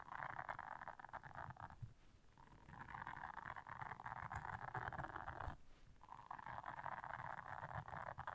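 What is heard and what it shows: Long nails scratch across the bristles of a blue silicone bristle scrubber, making a dense, crackly scratching in the midrange with a faint low rumble underneath. The scratching comes in three sustained stretches, with brief quieter pauses between them.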